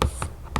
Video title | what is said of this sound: ASMR * Tapping & Scratching * Whispering * Fast Tapping * ASMRVilla | the top of a storage box, like a plastic storage box, and I found it had some really lovely scratching sounds and tapping sounds